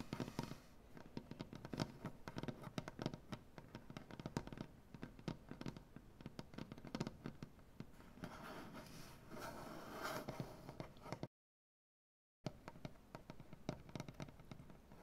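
Long dark-painted nails tap rapidly on a solid light wood butcher block tabletop, making dense, dry, short clicks with a low woody thump. Around the middle, the taps give way to a steadier, brighter scratching sound. After a brief full silence, the quick tapping resumes.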